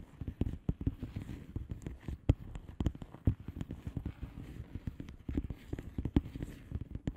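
Long manicured nails of both hands tap and scratch across a flat blue plastic bubble wrap mailer envelope with air-filled bubbles. The result is a steady flurry of short, dull, muffled clicks and taps, mostly low in tone, with soft scratchy rustling between them. Each tap dies away almost instantly.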